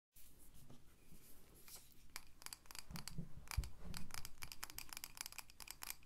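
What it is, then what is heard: Glass candle jar with wax. A medium pink candle jar, likely glass, filled with solid wax and topped with a wooden lid, is held in both hands and tapped and rubbed with long dark-painted nails. Quick, irregular clicking taps mix with soft scratchy rubbing, with bright ticks over a dull low body. Each tap dies away almost at once, with no ring.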